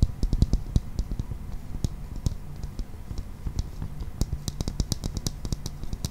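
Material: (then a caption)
Plastic. A hollow, transparent, hand-sized plastic toy ball with a green toy inside is tapped and scratched with fingernails. Many quick, dry taps and clicks follow one another in uneven bursts, each with a dull low body and a bright ticking edge, over a faint scratchy rustle. The taps stop almost at once with no ring.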